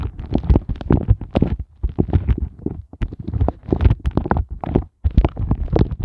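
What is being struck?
Silicone heart-shaped ice cube mold.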